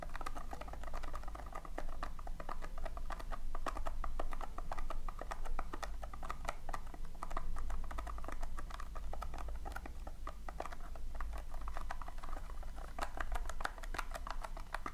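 Fingertips and long nails scratch and press into loose, colored polystyrene foam beads filling a round tin. The result is a steady stream of dense, crackly clicks and squeaky rustling over a low background rumble, swelling and easing slightly throughout.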